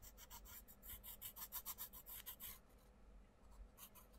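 A wooden coloured pencil scratches dense back-and-forth shading strokes across the paper page of an open colouring book on a wooden desk, while the other hand holds the page flat. About eighteen quick, bright, raspy strokes come in a steady rhythm, then fade to quieter, softer scratching before a few stronger strokes return at the end.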